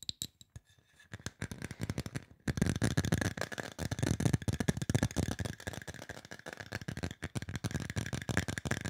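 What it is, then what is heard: Aluminum spray bottle tapped. Fingertips and nails tap rapidly on a hollow, silver aluminum spray bottle. Sparse, quiet taps at first give way to a dense, louder flurry of short, dull thumps with bright clicky edges. The pace slows slightly near the end.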